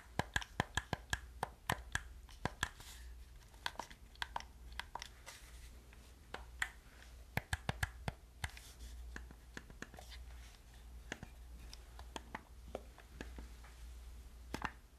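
Fingernails tap a hollow black plastic gamepad held in both hands and press its buttons, producing a rapid, irregular run of short, dry clicks and ticks with bright edges. A steady low hum runs underneath the whole time.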